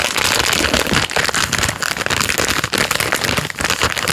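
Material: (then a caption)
Plastic film. A full Jammie Dodgers Unicorn biscuit packet in plastic film is turned front and back while a thumb and fingertips rub, squeeze and scratch the wrapper. The result is a dense, steady crinkling and rustling, bright and crackly with little low end, continuing throughout with brief dips between handling movements.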